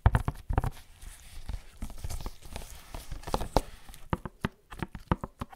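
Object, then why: Printed cardboard box. A tall, hollow black-and-white printed cardboard Barber Jack product box, held upright against the microphone, is tapped and scratched with fingertips in white latex gloves. Quick, dull, low thumps with almost no ring come in irregular bursts, separated by soft scratchy rustling across the cardboard surface.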